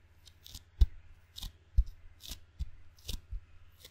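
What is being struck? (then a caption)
Rubber-faced wooden table tennis paddle. Open fingers quickly pat and peel off the sticky black rubber face of a wooden ping pong paddle held by its handle. The result is a loose, uneven series of soft, short thumps, each with a brief bright tacky crackle as the skin lifts away, over a faint steady low hum.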